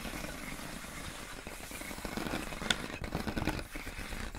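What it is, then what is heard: Plastic air column packaging. Long acrylic nails tap and scratch clear inflated plastic air column wrap around a pink box. Soft crinkly scratching and rustling build to a few sharp, bright plastic taps, the loudest near the middle of the clip, over a faint low rumble.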